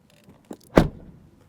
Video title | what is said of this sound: Asa arata viitorul AUDI! Noul Q6 scrie o noua pagina în cartea de istorie a brandului | it sounds full when you close the door